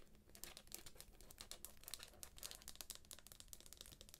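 Long nails tap and scratch the cover and pink edge of a thick, solid paperback book wrapped in plastic shrink wrap. A steady run of quick, bright crinkly clicks and scrapes plays at a quiet level, with a low hum underneath.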